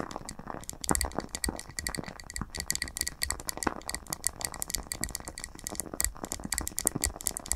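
Long nails from both hands tap rapidly on the glass sides of a lit, wax-filled candle jar with its lid removed. The taps come as a dense run of sharp, bright clicks that die away almost at once, over a faint low rumble.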